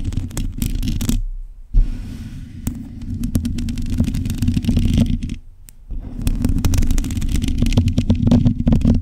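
Long nails scratch and tap on a black metal mesh microphone grille. The result is a dense, low rumbling texture with a steady hum near 220 Hz, sprinkled with quick, sharp ticks. Two brief near-silent gaps break up the scratching.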